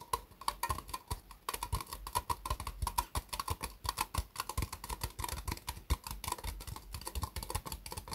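Long fingernails tap rapidly on the sides of an empty, small, hollow white ribbed disposable plastic cup resting upside down on a mousepad. A fast, steady patter of crisp, hollow clicks follows, each dying away almost at once, with a faint ring around 1 kHz and a soft low thump beneath.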